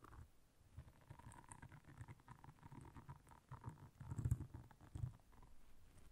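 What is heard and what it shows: Long nails quickly scratch and tap the bristles of a round blue silicone bristle scrubber pad lying flat. The result is a quiet, rapid patter of soft, dull taps and brushy scratches, mostly low and muffled with a faint mid-range hiss, swelling into a louder burst of tapping near the end.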